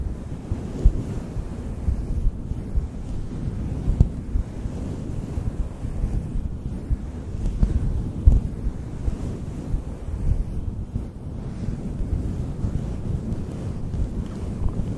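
Fingers stroke and squeeze a fluffy synthetic faux fur windscreen on a black microphone. The result is a continuous, muffled, low rumbling brush with almost no high end, resembling wind against the mic, with a few slightly louder soft bumps along the way.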